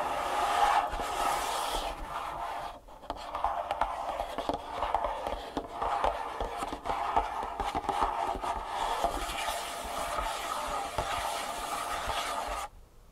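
Fingertips and nails tap and scratch the top and edges of a long, closed, printed cardboard Superfeet insole box resting on a table. The result is a steady, dry rasping scrape centered in the midrange near 800 Hz, with quick light taps woven through it. It briefly eases just before the three-second mark and stops abruptly at the very end.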